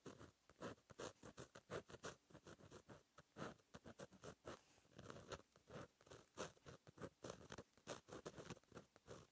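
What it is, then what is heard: Pen writing on a paper notebook page. A fine metal gel pen tip scratches across a flat, black, lined paper notebook page while writing handwritten text. The result is a quiet stream of short, dry scratches and taps, bright at the top with a midrange body around 530 Hz, coming in quick uneven bursts throughout.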